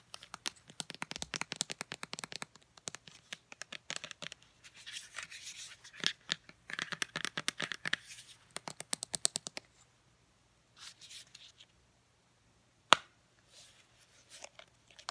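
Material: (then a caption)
Hard plastic. Long painted nails tap and scratch a small Olay deodorant stick in a hollow white and yellow hard plastic case with the product inside. Dense, bright, rapid clicking taps mix with scratchy bursts for the first ten seconds over a faint low hum. Sparser soft scratches follow, with one sharp, louder tap near the end.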